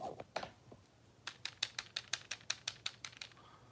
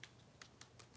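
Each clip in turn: First: hollow plastic doll body. Second: solid plastic doll body.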